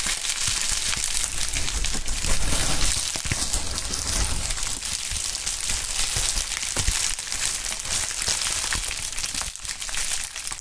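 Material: Plastic.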